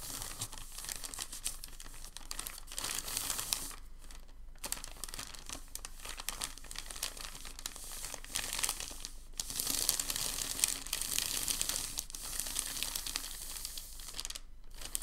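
A folded, crinkled packing paper sheet on a table is pressed and rubbed flat with the palms. This produces a dense, bright crinkling and crackling that runs almost continuously, with a few brief pauses, including one around four seconds. It swells slightly louder in the last third.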